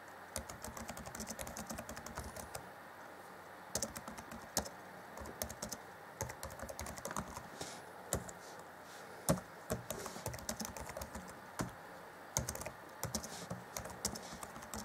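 Fingertips of both hands type on the black plastic chiclet keys of an Acer Chromebook C20 (2014) laptop keyboard. Quick, light clicky taps come in bursts with short pauses, each one short and dry with a bright edge, over a faint steady low hum.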